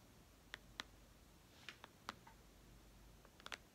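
Long red almond-shaped nails tap and click on the black glass screen of a white iPad, a thin solid slab lying flat on a lace tablecloth. Sharp, dry, bright clicks come in irregular bursts over a quiet background hiss, each dying away almost instantly.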